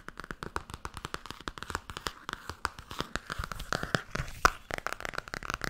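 Fingernails tap fast and scratch across the front and back covers of a blue Tarot hardcover book. The result is a dense run of short, dry clicks with almost no ring, centered near 1.2 kHz, broken by brief scraping sweeps.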